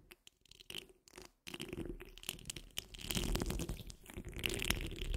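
Long fingernails on the curled fingers of both hands scratch the rounded, hollow steel wire-mesh grille of a large condenser microphone. It starts with a few sparse, quiet scrapes, then after about a second and a half becomes a dense, continuous scratching with a deep rumbling body and a bright, raspy hiss on top.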